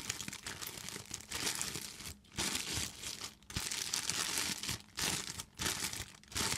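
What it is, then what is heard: Thin plastic bag being crinkled. An empty, clear, thin plastic bag is crinkled and squeezed by hands with long nails. Dense, bright crackling comes in continuous bursts, broken by a few brief pauses where it drops to near silence.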